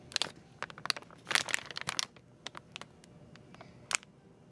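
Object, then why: Plastic film bag holding small plastic tubs. A clear crinkly plastic film package shaped like a blue Peeps bunny, holding a stack of small plastic slime tubs, is squeezed and handled in one hand with long painted nails. The film gives off bright, dry crinkles and crackles in irregular bursts, with a louder cluster near the middle and a final sharp crackle near the end.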